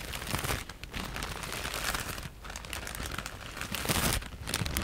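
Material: Plastic, foam.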